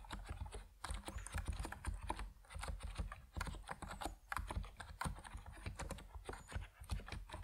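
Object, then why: Plastic mechanical keyboard with PBT keycaps. Fingertips type steadily on a compact plastic Epomaker NiZ Plum Atom 68 mechanical keyboard with white and purple PBT keycaps. The result is a continuous run of dense, short, low clacks with a deep, muted thock and little high-end brightness.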